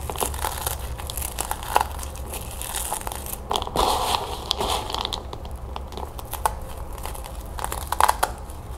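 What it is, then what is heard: Puffed corn cereal balls. Small dry puffed corn cereal balls are crushed and crumbled between fingertips with long nails, above and inside a plastic bowl. It makes a continuous run of sharp, dry crinkling crackles and small crunches with bright, crisp detail over a steady low hum.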